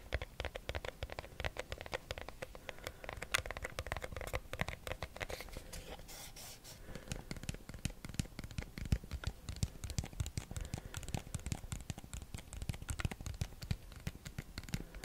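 A small, hollow, white rigid cardboard box, held in one hand, is tapped and scratched with short fingernails. Dense, rapid, dry taps carry a low, hollow thump, mixed with scratchy rustling. Each tap dies away almost instantly, and the steady rhythm slackens only briefly about midway.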